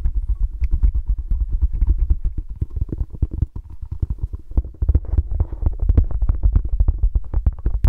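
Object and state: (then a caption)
Foam mini basketball stress ball. A small, palm-sized orange Spalding-branded foam mini basketball stress ball is held in both hands and squeezed and rubbed with the fingertips and thumbs. The sound is a steady stream of rapid, soft, muffled taps and rubbing scuffs, deep and dull with almost no high end.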